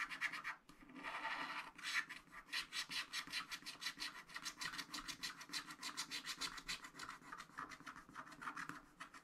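A wooden stylus rubs and scratches across a black wax-coated scratch art sheet in a flat spiral pad, filling in a pink building. A few longer rubbing passes give way to a steady run of quick, dry, bright scratching strokes with no ring after each one.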